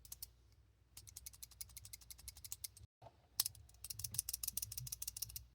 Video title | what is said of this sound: Rifle in your pocket: Heizer PAR-1 (Pocket AR) | You can hear how loose they are when I tap one of the buttons like this.